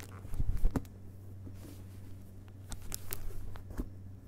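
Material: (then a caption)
Paper, board. Both hands tap the front cover of a closed hardcover book with a glossy illustrated dust jacket, lying on a carpet, using fingerpads and fingertips. The taps are soft, dull and quick, with a cluster early on and scattered lighter taps later, over a steady low hum. The book is solid.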